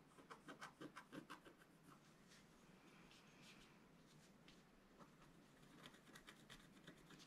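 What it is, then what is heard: Scratch-art paper being scratched. A wooden stylus scratches lines into the coating of a flat black-coated scratch-art card. Quick, rhythmic bursts of dry scratching open the clip, settle into a steadier, quieter rasp in the middle, and pick up into short repeated strokes again near the end, with bright, high edges on each stroke.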